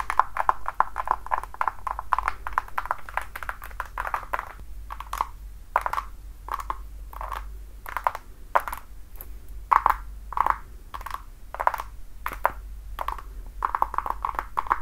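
Long nails tap and scratch the toe box and sole edge of a worn red glossy patent-leather platform high heel. Quick, light clicks and scraping strokes come in clustered bursts, each with a short bright ring near 1 kHz, over a faint steady low hum.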